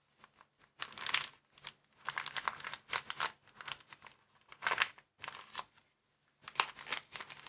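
A small, empty white plastic bag is rolled and folded in the hands while fingers crumple and crinkle it. Bursts of sharp, bright crinkling and crackling come in irregular clusters separated by brief silences. The rustle is mostly high-pitched with almost no low end and each crackle stops dead without ringing.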